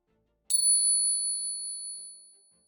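A silver Peace dollar coin is ping-tested with a single tap, giving off a clear, high, bell-like ring. Two bright tones ring out and take over a second to fade. The clean, sustained ring marks it as a real silver Peace dollar, a significant difference from the other coin it is compared with.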